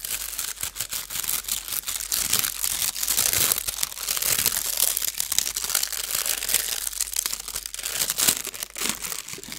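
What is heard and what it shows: A thin blue metallic foil sheet is twisted and scrunched by the fingertips of both hands. It makes a steady, dense stream of bright, crackly crinkling with quick sharp snaps and almost no low end.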